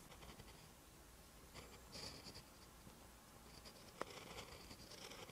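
A pen held in the hand writes green Hangul on a lined page of a spiral notebook. The quiet, continuous scratching of the pen tip on paper carries high, bright rasps and a single sharp tick near the end.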